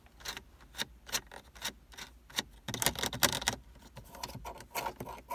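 Fingertips and nails tap and flick the thin horizontal slats of a hollow black plastic car dashboard air vent. The result is a series of short, bright plastic clicks that die away almost instantly, with a quick rattling flurry in the middle, over a faint low hum.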